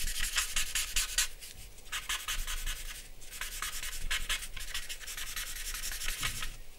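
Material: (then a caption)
Paper. A dark charcoal pencil, held in the hand, scratches and rubs across a large white drawing paper sheet on a black board lying flat on a wooden desk, shading the lips and chin area. Quick, rhythmic bursts of bright, dry scratching come in clustered strokes with brief gaps between them, over a faint low rumble.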